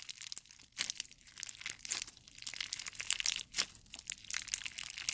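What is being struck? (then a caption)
Clear slime with soft jelly cubes. A handful of clear slime with colored jelly cubes is squeezed and pressed between the thumb and fingers. It makes quiet, bright, crinkly crackles and sticky little pops that come in a rapid, uneven stream of short bursts, with almost no low end.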